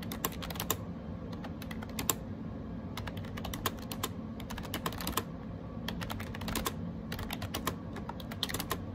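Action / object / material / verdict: tap / plastic keyboard with round keycaps / plastic / none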